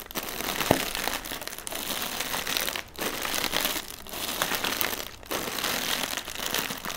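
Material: Plastic film.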